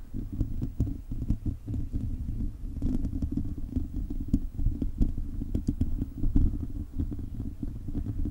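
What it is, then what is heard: Metal mesh microphone grille being scratched. Fingertips and short nails of both hands scratch a hollow silver metal mesh microphone grille. The result is a dense, continuous low rumble centered around 74 Hz, broken by rapid scratchy clicks and brief brighter ticks. There are no voices.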